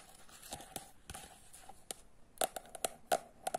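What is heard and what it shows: Quiet scratching gives way to a run of sharp fingernail ticks, a few landing harder near the end. Each is a dry, papery click with a faint mid-range knock and no ring, as from a stiff card cover over packed pages, heard close in a small room.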